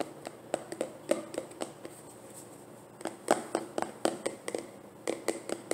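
A medium translucent plastic cosmetic jar with an orange screw lid, partly filled with cream, is turned in the hands and tapped with nails and fingertips. Quick, dry, hollow ticks with a midrange tone come in loose clusters, with a quieter stretch of faint handling in the middle. Each tap dies away almost immediately.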